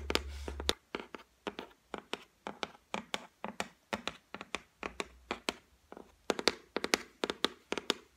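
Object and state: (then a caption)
Laminated shelf, solid board. Long white nails tap on the flat top of a solid white laminated shelf board, making many short, dry, bright clicks with almost no ring. The taps come in quick, uneven bursts, and a faint low hum runs under the start.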